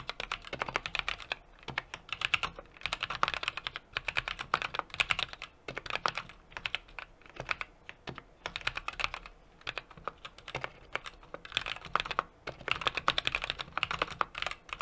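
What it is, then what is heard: Mechanical keyboard typing. A 60% mechanical keyboard with an aluminum case, brass plate and plastic keycaps is typed on steadily with the fingertips of both hands. Rapid, bright clacks come in short bursts separated by brief pauses, each keystroke sharp and dry with almost no ring.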